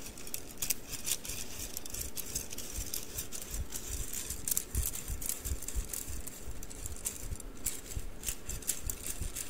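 A bundle of thin wooden mikado sticks is held upright and dropped or tapped onto an open palm. The sticks clatter against one another in a steady run of quick, dry, bright clicks over a soft low thump.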